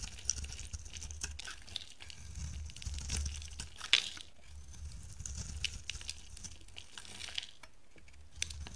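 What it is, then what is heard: Dry soap bar being shaved. A metal box-cutter blade shaves thin slices off a bright yellow oval bar of dry solid soap held in the hand. The result is quiet, crisp scraping and crinkling over a steady low rumble, with one sharper crunch near the middle.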